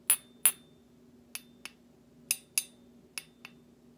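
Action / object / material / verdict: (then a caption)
tap / stainless steel slotted serving spoon / stainless steel / none. A large stainless steel slotted serving spoon, with a thin solid metal bowl and cut-out slots, is held up and tapped repeatedly with the handle of another metal utensil. Eight bright, short metallic clinks come in pairs, alternating louder and softer, each with a high ring that fades quickly over a faint steady low hum.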